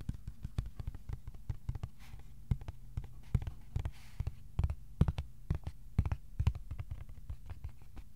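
A thin, flat white cardboard sheet about A4 size is held flat and tapped with fingertips. Quick, irregular taps land as soft, dull thumps, almost entirely low in pitch with no ring, over a faint steady low hum, some taps noticeably louder than others.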